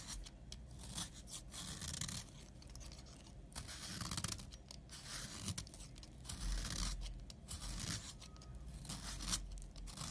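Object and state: Bar soap scraped with a blade.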